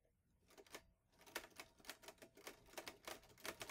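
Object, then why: Metal portable manual typewriter. Fingertips type on the keys of a green metal portable manual typewriter, an Olivetti Lettera 22, producing a quick run of sharp, bright mechanical clacks. Each keystroke snaps off almost at once, with very little low end, after a brief quiet start.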